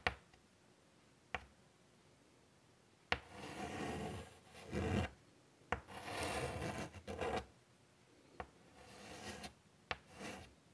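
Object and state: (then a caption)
Chalk scratched on a chalkboard. White chalk scratches across the dark surface of a large wooden-framed chalkboard lying flat, drawing curves. Sharp, clicky taps of the chalk meeting the board alternate with longer, bright, raspy strokes that swell and fade.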